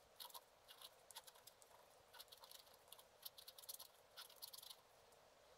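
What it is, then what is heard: Scratch art card being scratched. A wooden stylus scratches the top area of a black-coated scratch art card lying flat. The result is quiet, bright, dry scratching in short bursts and clusters, with almost no low end and a faint steady hiss between strokes.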